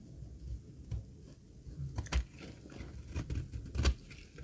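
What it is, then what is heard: Dry laundry soap bar being cut. A solid, dry green laundry soap bar is held in the hand while a metal blade shaves its edge. The shaving makes soft, dry crunches and scrapes, dominated by low thuds, with a few sharper bright crackles standing out. The strokes come at an uneven pace over a quiet background.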